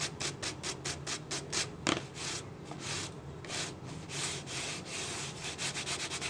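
Fingertips rub and scratch the ridged body of a clear, hollow, apparently empty plastic drink bottle held sideways with its base toward the camera. Quick, bright scratchy strokes come in a steady rhythm, with a sharp crackle near the two-second mark. Longer, smoother hissing rubs follow.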